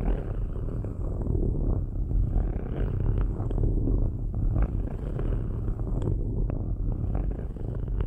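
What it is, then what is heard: Metal microphone grille being scratched. Metal ball-tipped sticks scratch across the perforated metal grille tops of two cylindrical microphones. The result is a steady, deep, purr-like rumbling scrape dominated by low frequencies, scattered with brief sharper ticks and clicks that reach into the upper mids.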